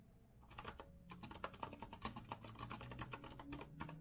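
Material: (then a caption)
Metal. Fingertips of both hands type rapidly on a compact retro Azio mechanical keyboard with a copper-colored metal case and round keycaps. The result is a dense, steady run of crisp, clicky key taps over a low background hum, each tap short and dry.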